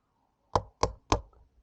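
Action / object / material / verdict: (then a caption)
strike / steel wheel bearing driven into a hub / steel / not seated. A new steel rear wheel bearing is hammered into a motorcycle hub through a socket with three separate knocks. Each strike is a short, dull, dead thud with almost no ring, meaning the bearing has not yet bottomed out in its seat.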